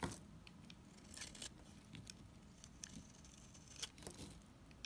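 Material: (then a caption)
Soap. A solid blue NIVEA bar soap held in the hand is scraped with a utility knife blade, peeling off curled shavings. Quiet, bright, crisp scraping strokes and small crackles come in repeated bursts over a low, steady background rumble.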